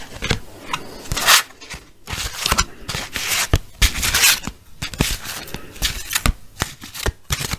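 A small deck of paper playing cards with a red patterned back is held in both hands and riffled and shuffled with the fingertips. Bright, crisp fluttering bursts rise and fall, broken up by short, dry snaps and light scraping as the cards slap together.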